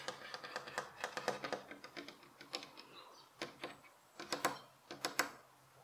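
Fingernails tap quickly on the flat face of a solid light pine bed frame rail beside a fabric pillow, which is left untouched. The result is a quiet, irregular run of dry, bright clicks with almost no ring, coming in bursts separated by short pauses.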